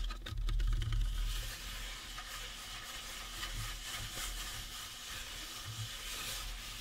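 Fingertips scratch and rub the top and sides of a life-size painted resin or plastic Halloween prop skull. The result is a steady, dense, bright scratching rustle over a low rumble that is loudest in the first second.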